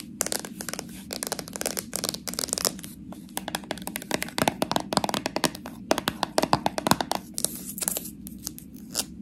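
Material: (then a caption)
Plastic, metal. Long nails tap and scratch across the plastic body and metal lid of a small, full slime jar. Rapid, dry clicks mix with bright, scratchy bursts that stop almost instantly, over a steady low hum in the background.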